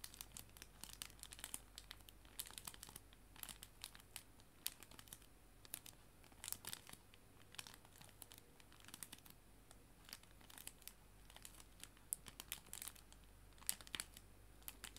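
A clear plastic cello bag holding paper art prints is squeezed and crinkled by hands with nails. The result is a quiet, continuous stream of sharp, bright crackles and crinkles. A faint low hum sits steadily underneath.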